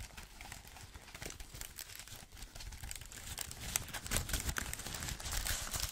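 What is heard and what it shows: Gloved fingertips tap the plastic keys and aluminum body of a thin white wireless Apple keyboard. The result is a dense, irregular run of soft, quick taps with a crinkly, bright texture and dull low thumps underneath. The taps grow slightly louder and sharper toward the end.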